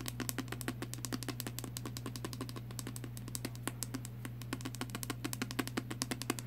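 A small pink plastic perfume spray bottle with liquid inside and a clear cap is held in a hand and tapped quickly with fingernails. The result is a fast, steady stream of short, crisp, bright clicks with almost no ring, over a constant low hum.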